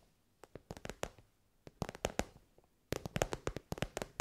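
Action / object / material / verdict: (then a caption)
tap / soft synthetic-fabric pencil case / synthetic fabric / none. Long nails tap on a glossy pink fabric pencil case, an elongated soft case covered in shiny pink synthetic fabric. Short, dry, muffled taps come in three uneven bursts separated by brief pauses. Each tap has a mid-pitched thud and dies away almost instantly.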